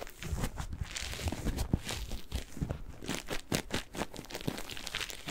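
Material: Cellulose.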